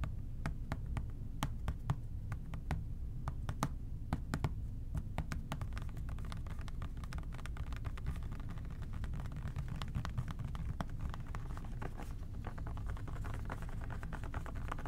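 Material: Plastic.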